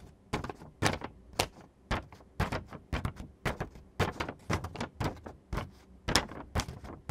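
Fingertips and nails scratch a thin, printed glossy photo paper sheet, then the hands lift and bend it. About 15 sharp, bright, crackly scrapes and rustles come in an uneven rhythm, each with a dull low thump underneath and almost no ring. Quiet pauses separate them.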